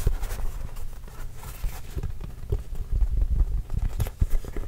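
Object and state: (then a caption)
Leather basketball tapped. Fingertips tap on an autographed Spalding Trail Blazers leather basketball, hollow and inflated. A quick, irregular run of soft, dull, low thumps sounds, each dying away almost instantly with no ring.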